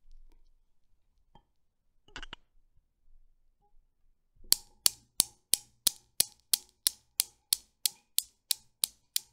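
Fingers with long blue nails pull back and release the steel balls of a small Newton's cradle. After a few faint handling sounds and a brief bright rattle, the solid balls knock together in 15 sharp, bright clicks at a steady, slightly slowing rhythm, each dying away almost instantly.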